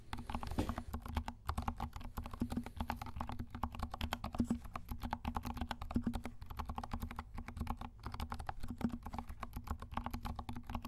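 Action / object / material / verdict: tap / plastic mechanical keyboard / plastic / none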